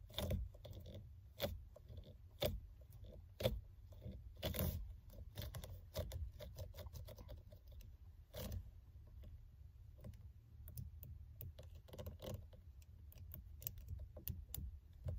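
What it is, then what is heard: Faux leather steering wheel cover. Long red-painted nails and fingertips of both hands grip and scratch the top of the solid rim of a car steering wheel wrapped in a black, textured, stitched faux-leather cover; rings on the fingers may add clicks. Low, muffled rubbing and squeezing runs throughout, broken by sharp, bright scratches and ticks that come about once a second at an uneven pace and stop almost at once.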